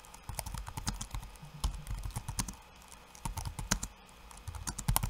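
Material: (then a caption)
Plastic. One hand's fingertips type quickly on a backlit laptop keyboard with plastic keycaps. The result is a dense run of short, dull clicks and soft thuds with brief quiet pauses. The hand comes close at the end.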